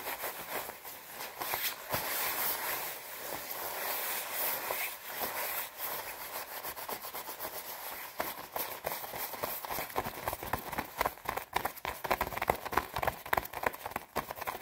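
Long red nails scratch and rub the shoulder and collar of a white, padded, quilted nylon down jacket. A steady crisp, bright rustling swish gives way after a few seconds to faster, sharper scratching strokes that crackle across the fabric.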